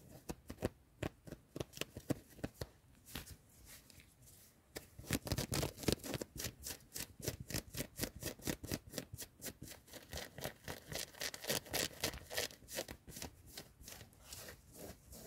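A worn yellow ribbed knit cotton hoodie sleeve is scratched and rubbed fast with long nails in a car. The sound is a rapid run of short, dry, bright scratching strokes, sparse and softer for the first few seconds, then dense and steady from about five seconds on.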